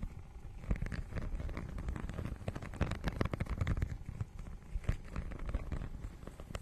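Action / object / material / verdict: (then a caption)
scrape / textured plastic book cover / plastic / none. Long nails scratch across the holographic, scale-textured plastic cover of a notebook-sized book. The result is a dense, continuous run of quick crackly scrapes and taps with a heavy low rumble. The bright grit stays thin, and the scratching rises and falls in loudness throughout.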